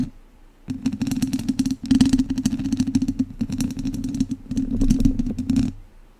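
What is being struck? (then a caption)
Metal mesh microphone grille and wooden chopsticks. Two wooden chopsticks scratch the sides of a hollow metal mesh microphone grille. The result is dense, rapid scratching and clattering over a loud, boomy low drone. It comes in three long bursts separated by brief pauses, then fades to quiet.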